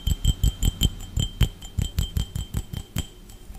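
A hollow, empty clear glass tumbler is held in one hand and tapped fast with the fingertips and nails of the other. About fifteen quick taps sound, each a dull low knock with a brief bright glassy ping on top that fades almost at once. The rhythm is slightly uneven.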